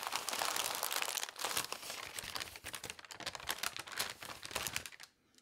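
Hands with long nails roll, fold and rub a thin newspaper sheet spread on a table while wrapping glasses and cups. The result is dense, bright crinkling and crunching that stays busy and fairly steady, then drops away to near silence in the last half second.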